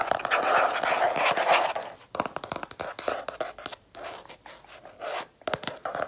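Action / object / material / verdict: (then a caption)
tap / stiff cardboard planner cover / cardboard / none. Long red-painted nails scratch and tap the stiff, gold-striped cardboard cover of a closed spiral planner held up in the hands. About two seconds of dense, continuous scratching is followed by bursts of quick, dry taps with short pauses between them.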